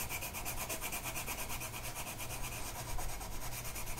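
The tip of a blue colored pencil is rubbed back and forth across a flat, printed mandala sheet of paper lying on a table and held down by one hand. It makes a steady, dry, scratchy rubbing with quick repeated strokes and a bright, hissy edge over a low, constant hum.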